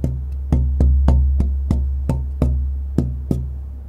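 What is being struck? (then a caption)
Spruce guitar soundboard plate. A thin, pale spruce guitar soundboard blank, held by its upper edge near a microphone, is tapped by hand with fingertips or a knuckle in a tone-tapping test. About ten short, dull knocks come at an uneven pace, each giving a brief low, woody tone that dies away almost at once over a steady low hum.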